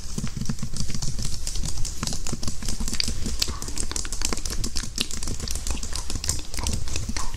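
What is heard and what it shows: Fingertips and nails type and tap on the low-profile keys of a full-size white slim plastic computer keyboard with a hollow housing, held flat in front of the microphone. A steady, dense stream of quick, dry clicks and taps carries a deep hollow thump beneath, with bright clicky edges on each keystroke.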